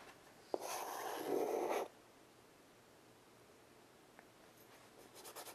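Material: Chalk.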